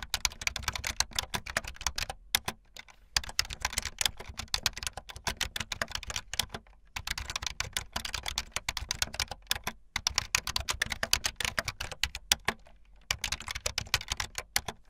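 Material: Plastic.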